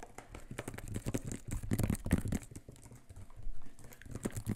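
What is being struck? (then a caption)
Plastic spray bottle with paper label. Fingertips and nails rapidly tap and scratch the sides and paper label of a hollow, apparently near-empty clear plastic trigger spray bottle with a white sprayer head, held in both hands close to the mic. The result is a dense run of quick, dry, crinkly clicks and scrapes with a low, hollow thump in the body and no ring after each touch.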